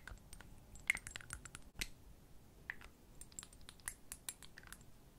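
A small rectangular glass perfume bottle, partly filled with amber liquid and topped with a metal cap, is held close to the mic and tapped and handled with long nails. A quick, irregular series of light, bright clicks and taps rings sharply around 2 kHz, with soft scratchy handling between them. Each tap dies away almost instantly.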